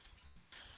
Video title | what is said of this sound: Kuliah 3 Pengucapan Awam | Bila dengar bunyi itu, maksudnya mikrofon dah dengar okey lah.